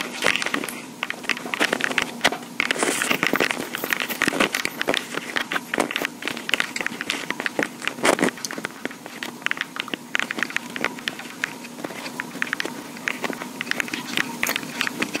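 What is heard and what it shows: Long pink acrylic nails tap and scratch the top and sides of a small handheld black plastic Tascam portable recorder with metal mic grilles on top and a hollow body. A steady stream of rapid, dry, clicky taps mixes with scratchy rasps. The sound is bright, with almost no low end, and each tap dies away instantly.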